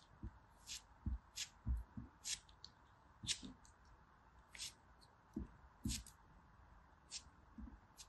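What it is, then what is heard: Pressed soap block scraped. A small, solid, brown, gritty pressed soap piece is held in the fingers and scraped and cut with a metal blade. Quiet, short, dry bursts alternate between bright, crisp scraping hisses and low, dull thuds, each dying away almost instantly over a steady faint background hiss.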